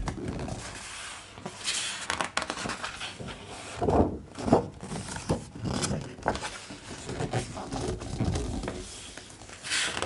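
Flat hands and fingertips rub over the thick glossy paper pages of a large open hardcover art book, making a soft, continuous papery rustle and swish with bright hiss. Louder brushing swells stand out around the middle, and a page is then turned with a crisp flutter.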